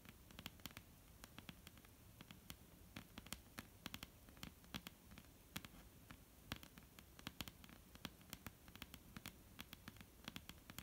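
Long, almond-shaped painted nails tap rapidly and irregularly on a solid, flat dark-brown wooden tabletop. Each tap is a short, dry click with a bright top, dying away almost at once over a low, quiet rustling background.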